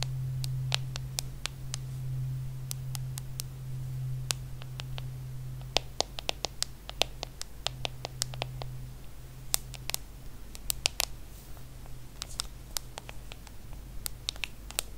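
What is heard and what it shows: An aluminum and glass iPhone, small and solid, is held in the hand while long acrylic nails tap and scratch its glass screen, then its aluminum back. Many sharp, bright clicks with almost no ring stand out over soft scratching, and a steady low hum runs underneath.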